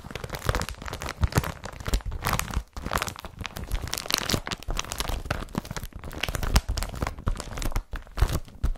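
Hands rub an empty blue IKEA BRATTBY carrier bag made of woven polypropylene, ending with fingertips scratching its flat surface. The result is a steady stream of crinkly, scratchy rustling with bright texture over soft low thumps, broken by brief pauses.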